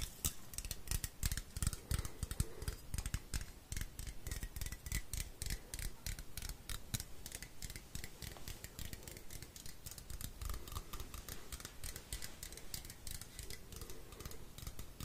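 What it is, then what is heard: Aluminium aerosol can. An uncapped, hollow blue aluminium aerosol can is held in both hands with its shiny bottom toward the mic while fingernails scratch and tap its metal bottom and side. The result is a steady stream of quick, crisp clicks and bright scratchy strokes that die away almost instantly, with a soft low rumble underneath.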